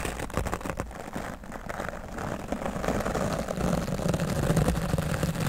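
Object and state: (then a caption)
Foam microphone windscreen being brushed. A wooden-backed dry brush with stiff bristles is rubbed across a grey foam microphone windscreen. It makes a steady, dense scratching rustle with a heavy low rumble and quick, uneven stroke pulses. The brushing grows slightly louder toward the end.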